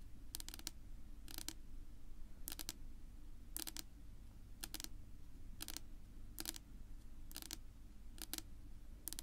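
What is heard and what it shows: Long natural nail tips of both hands, held vertically, tap on a flat, solid dark wood-grain tabletop. Quick, bright, clicky taps land in short double and triple bursts with very brief ring, spaced regularly across the clip. A steady low rumble sits underneath the whole time.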